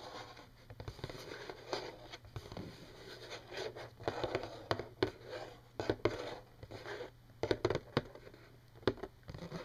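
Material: Cardboard.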